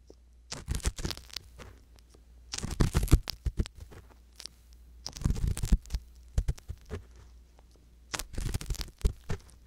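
A wooden-handled metal ear pick scrapes around the canal opening and inside the canal of a soft silicone ear on a hollow white binaural microphone body. Close, muffled scratching and crackling come in four clustered bursts, heavy with low rumble and thin bright rustle, separated by near silence.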